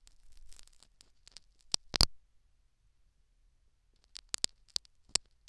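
A thin metal syringe needle pokes and scratches a tan foam plug inside the canal of a life-size silicone dummy ear microphone in repeated small strokes. The sound is soft crackling scratches with sharp, bright clicks and a near-silent pause in the middle. Each tick ends almost at once.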